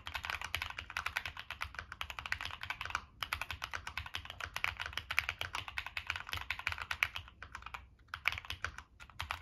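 Fingertips type continuously on a Monsgeek M1 mechanical keyboard with a black aluminum case, plastic keycaps and NK Cream switches. It makes a rapid, steady stream of short, bright clacks with almost no ring, pausing briefly around three and eight seconds.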